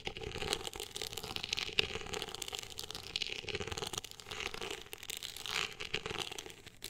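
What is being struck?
Woven-texture hardcover book cover.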